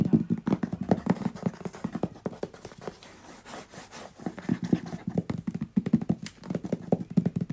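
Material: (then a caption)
Cardboard. A medium-sized, hollow, white-grey printed cardboard box held in one hand is tapped and knocked rapidly with fingertips and nails. The taps are dull, hollow and low, with a short resonance, and they ease into a softer, quieter stretch midway before picking up again in quick bursts.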